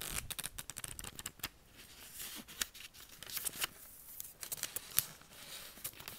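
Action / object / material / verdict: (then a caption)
scrape / paper notebook pages / paper / none. Fingertips lift, rub and flip the thin pages of a lined paper spiral notebook, partly drawn on with marker, one after another as it lies flat on a table. Quiet, bright papery rustles and crisp flicks come in quick succession, with a few sharper snaps and soft swishes between them.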